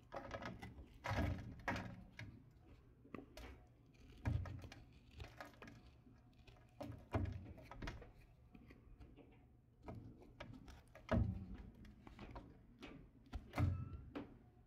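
A solid light blue bar of soap with gold metallic-coated edges is held in the hand and shaved with a red patterned knife. Quiet carving and scraping strokes come as soft, dull low thuds with brief crisp bursts of high scraping noise, each dying away quickly.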